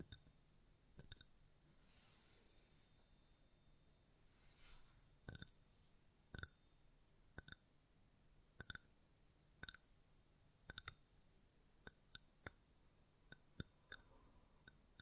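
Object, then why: Small mosaic glass candle holder. A small, round, hollow dark mosaic-glass candle holder, held in one hand close to the mic, is tapped and scratched on its textured surface with long painted nails. Sharp, bright, dry clicks ring very briefly and are spread across the clip. Faint soft scratching swishes fill the gaps between some of the taps over a quiet background.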